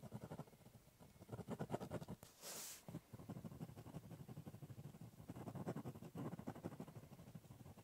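A ballpoint pen draws short strokes on the top of a large, hollow, brown corrugated cardboard box, producing quiet, rapid bursts of low, hollow scratching. Partway through, a brief brighter hiss breaks in before the quick strokes resume.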